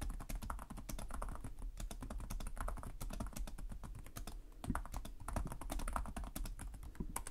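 Both hands type steadily with their fingertips on the plastic chiclet keys of a black laptop keyboard. A fast, dense stream of short, dry taps with a soft, muffled thump carries on throughout. A slightly louder flurry of keystrokes comes near the end.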